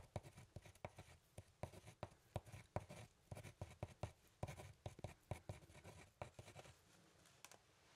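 A pen scratches and writes across a thin, solid brown hardboard clipboard with a metal clip, held up close. The quiet, dry strokes come as quick taps and scrapes, mostly low and thumpy with only faint brightness, and grow sparser and softer toward the end.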